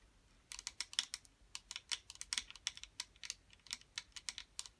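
Long metallic acrylic nails tap and scratch a small, round, clear blue plastic putty container, full of putty, its lid on and still shrink-wrapped, held on and above a table. About 21 quick, bright, clicky taps come in an uneven, typing-like rhythm. Each is dry and short with almost no low end.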